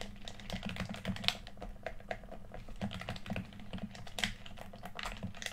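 Fingertips and thumbs rapidly tap and press the rubber buttons and face of a red PS4 DualShock controller, a small hollow plastic handheld shell held in both hands over a white surface. The result is a quick, irregular stream of short, dry, bright clicks that sound like typing, over a faint steady low hum.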